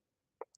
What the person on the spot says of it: When you shake it up, you hear that little magnet right there, a little marble or whatever.